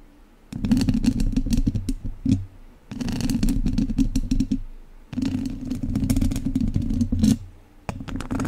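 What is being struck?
Metal mesh microphone grille rubbed with wooden chopsticks.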